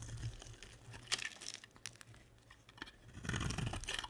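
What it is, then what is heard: Bar of soap being carved. A box-cutter blade scrapes curly shavings off a solid, translucent, hand-sized green bar of soap held in the hand. Dry, crunchy scraping and crackling come in irregular bursts, bright and crisp over a steady low hum, with the loudest flurries near the start and end.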